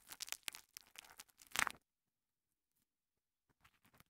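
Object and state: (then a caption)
Foam kitchen sponge. A small two-layer green and yellow foam kitchen sponge, held in fingers with long nails, is squeezed and rubbed against a microphone capsule. This makes close, bright, crackly squishing and crinkling bursts with almost no low end, peaking in a loud scrunch just after one and a half seconds. Silence follows, then fainter rustling returns near the end.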